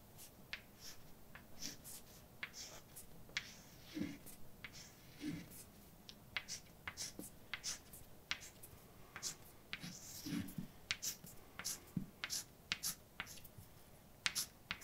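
A hand writes with white chalk on an empty, dark blackboard, scratching and tapping against the flat surface. Short, bright, dry scratches and taps come in quick, irregular bursts over a quiet background, with some softer low thumps.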